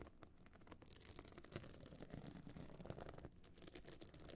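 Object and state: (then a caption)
Pebble-encrusted clutch bag, scratched. Long nails scratch across a small, hard metal-frame clutch bag covered in glued pebble chips as it stands open. The result is a dense, rough scratching made of quick, gritty strokes with tiny clicks as the nails catch on the stones. The sound is steady and fairly quiet, with most of its weight low and only a faint bright edge.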